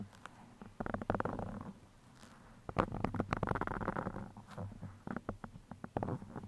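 Steel pins are pushed into and scratched against the sides of a black foam microphone windscreen. Dense, crackly scratching comes in bursts with a low, rumbling texture, separated by brief quieter pauses.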